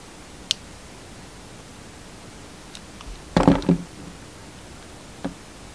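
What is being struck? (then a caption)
Bar of soap. A utility knife held in the hand slices and scrapes a solid black bar of soap shaped like a money bag. A quiet hiss carries a sharp early click, faint ticks, then a dense, gritty burst of cutting and scraping with a low-mid body around 280 Hz, and a last small tick near the end.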